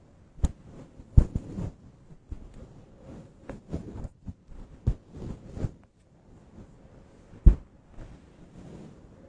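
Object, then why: Faux-fur microphone windscreen. A grey-white fluffy faux-fur synthetic microphone windscreen, held in the hands, is rubbed and scratched with long acrylic nails. It makes muffled, boomy rustling and soft thuds, almost entirely low-pitched, with several sharp louder bumps. A brief near-silent pause comes just past the middle.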